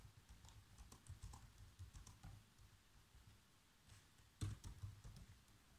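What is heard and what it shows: Bare fingertips with short nails type continuously on a black plastic laptop keyboard. The key presses are soft, dull taps with faint bright clicks that die away almost at once, and a louder cluster of presses comes near the end.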